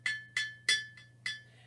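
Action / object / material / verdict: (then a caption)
tap / glass jar with water / glass / full. A glass jar nearly full of water is tapped several times, each tap giving a short, bright, clinking ring over a steady pitched tone that fades quickly. The water slows the jar's vibration, so its pitch is lower than that of an empty jar.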